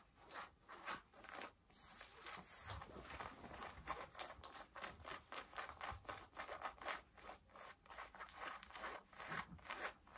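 Long nails scratch pale yellow denim jeans at the back and front waistband. The result is a quick series of dry, bright, rasping strokes with short pauses between them. The rough fabric scrapes are quiet, with little low end.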